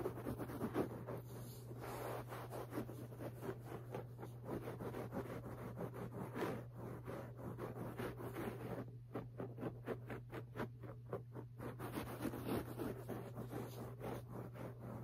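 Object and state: Fabric carpet being scratched.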